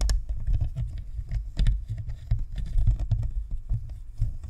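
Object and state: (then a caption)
Plastic USB microphone shell. Long manicured nails tap and scratch along the top of a Blue Snowball USB microphone, a fist-sized white hollow plastic sphere with a perforated metal grille, sitting on a stand. The result is a steady, irregular patter of short, dull, low-pitched thumps with faint scratchy clicks, each hit dying away almost at once.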